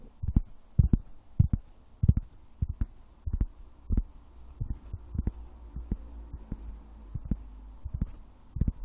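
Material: Wood.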